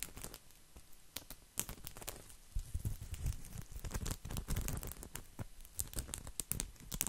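Fingertips and nails of both hands scratch a round, coiled, woven straw placemat held up close to the microphone. The result is a dense, dry, crackling scratch with many quick, bright, crinkly ticks over a soft low rumble, swelling and fading irregularly throughout.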